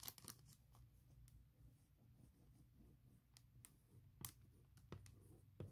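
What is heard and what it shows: A large clear printed plastic bag holding a laptop case is tapped and traced over its printed text with a fingertip and long nails. Sharp, bright crinkling taps sound out at irregular intervals over a low, steady hum, with softer scratching rustles in between.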